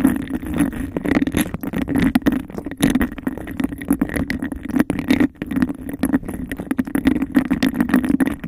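Long nails tap and scratch fast and aggressively on a clear, textured glass cup held over the mic. The dense, rapid clicks and scrapes carry a hollow, boxy resonance with a steady low-mid tone, and each tap dies away almost at once.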